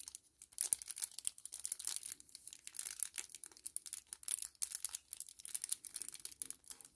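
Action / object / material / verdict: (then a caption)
scrape / small kraft paper-plastic laminate sachet / paper-plastic laminate / none. A small, flat 10 ml kraft paper-plastic laminate sachet is held in both hands and crinkled and rubbed with the fingertips. Quiet, dense crinkling and crackling is heard as a run of short, dry, bright bursts with no low end. The bursts stop instantly, with no ring after them.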